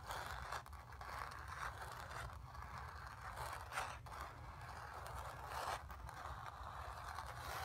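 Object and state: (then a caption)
Painted cotton canvas. Long nails scratch back and forth over a painted sphere on a painted cotton canvas. The result is a steady, dry scraping texture centred in the midrange, with brief brighter swipes and a faint low rumble underneath.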